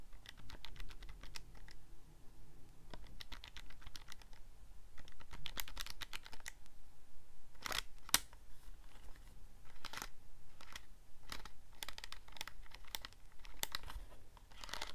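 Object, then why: Plastic calculator keypad. A handheld black plastic scientific calculator with a hollow casing is held in both hands while thumbs and fingertips press and click its keypad buttons. The sound is a quick, irregular run of short, dry, bright plastic clicks with almost no ring, over a faint low hum.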